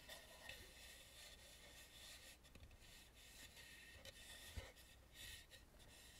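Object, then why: Carved painted wooden mask. Long nails scratch and rub across the painted cheeks, nose and forehead of a hollow carved wooden mask lying face up. The result is a soft, continuous bright rasping hiss with a faint low hollow undertone and a few slightly louder scrapes.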